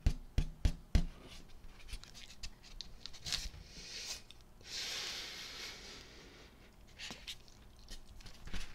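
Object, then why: Inflated latex balloon. Long nails tap and scratch the surface of a large, hollow, air-filled rose-gold metallic latex balloon held in the hands. A few sharp, deep thumping taps open the clip, followed by quieter scattered taps and a bright, hissing scratch across the skin in the middle. More light taps close the clip.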